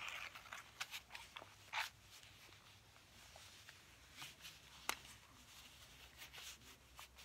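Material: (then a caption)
Faux leather. Fingernails tap and scratch across a tan wallet of faux ostrich-textured leather held in both hands. The quiet, bright ticks and soft scratches are irregular and die away almost instantly, with little low-end body beneath them.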